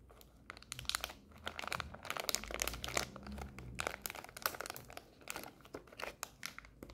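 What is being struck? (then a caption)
Small plastic stand-up snack pouch. A small, full Skittles plastic stand-up pouch is scratched and crinkled with long nails. It makes a steady run of bright, sharp crinkling and crackling through the whole clip, with some low rumble in the background.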